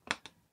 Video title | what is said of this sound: LTO Driver's License Fake (mats mix 2) | hindi siya ma masyadong matunog